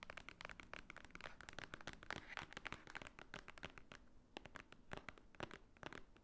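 Long nails tap and scratch across the top of a large, thick, solid block of white paper pages. The result is a rapid, dense stream of dry, crisp clicks mixed with papery scratching and crinkling, each tap dying away almost instantly with a bright edge.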